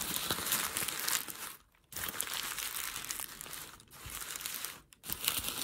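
A hand crinkles and pulls a thin, creased sheet of grey crumpled packing paper. It makes a dense, bright crackling rustle with almost no low end. The rustle stops in three short pauses, the longest near the middle of the clip.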